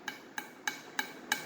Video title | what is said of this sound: Comparing stock Hellcat driveshaft to Redeye/Demon drive shaft | what they sound like if you thump them. This is stock, kind of hollow sounding